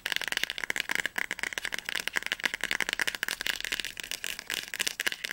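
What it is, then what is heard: Hardcover book spine tapped. Fingertips and nails tap fast on the spine of a solid orange hardcover book, *Flammender Zorn*, held upright. The result is a rapid, continuous stream of dry, clicky taps that are bright and sharp with almost no low end, and each tap stops instantly with no ring.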